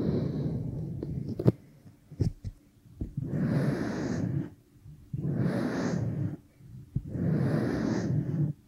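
Long painted nails and fingertips rub and press in a massage motion over a pair of soft, solid, flesh-coloured silicone dummy ears on a binaural microphone, possibly dusted with baby powder. A muffled, low-heavy rubbing opens the clip, broken by a few sharp taps and clicks, followed by three long, swelling strokes of close, hissing friction separated by brief pauses.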